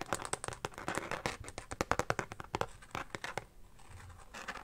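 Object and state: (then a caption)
Carbon-pattern phone case. Fingertips and nails quickly tap and scratch the back of a carbon fiber pattern phone case, first held in the hand and then lying on a blanket. A rapid run of sharp, dry clicks and bright scratchy rasps gives way to softer, quieter scratching near the end.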